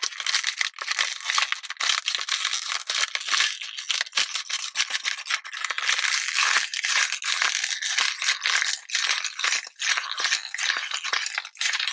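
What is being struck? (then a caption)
Thin plastic water bottle. A small, clear, thin plastic water bottle with a blue label, already crushed, is held in the hand and shaken and crinkled toward the camera. The result is a dense, bright crackling and rattling with no low end, running continuously for about twelve seconds with brief momentary dips.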